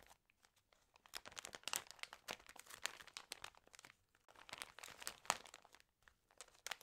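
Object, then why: Paper magazine. Fingertips and long green-painted nails riffle, flip and crinkle the water-damaged pages of a thick Trends news magazine lying flat, while other magazines beside it go untouched. Dry, crisp paper crackles and rustles come in quick clustered bursts separated by brief quiet gaps. The sound is bright, with almost no low end.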